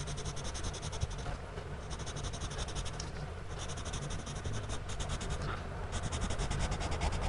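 A gloved hand draws on a page of a spiral-bound paper sketchbook lying flat, using a blue-bodied pencil whose tip scratches repeatedly across the paper in short hatching strokes. The result is a quick, uneven run of bright, dry scratches over a steady low rumble, with brief lulls in the strokes along the way.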